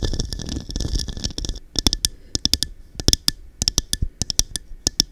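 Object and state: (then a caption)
Cut-glass cup tapped with nails. A small, hollow, empty textured cup with a diamond-cut pattern, glass or clear plastic, is held upside down over a microphone with a furry windscreen and tapped by long dark-painted nails. It opens with a dense flurry of rapid tapping and scratching over a low muffled rumble, then settles into spaced, sharp, bright clicks with a brief high glassy ping that dies almost at once.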